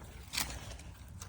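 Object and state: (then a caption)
Solid concrete behind a delaminated facing. A few taps on a concrete/masonry cap, deeper in behind the facing, each a short, dull knock with a low thud and brief bright click. The concrete sounds at least somewhat solid further back, unlike the delaminated facing.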